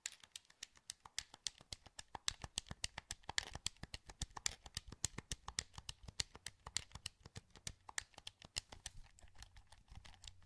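Fingertips click the buttons and sticks of a hollow, translucent green plastic PS2 wireless controller held in both hands. A rapid, steady stream of short, sharp plastic clicks sounds bright and quiet, with each click dying away almost instantly.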